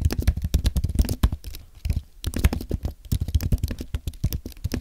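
Fingertips type on a compact white aluminium and plastic Apple keyboard, producing a rapid run of short, soft, low-pitched key thuds with very little brightness. The typing thins out briefly near the middle before resuming at a steady pace.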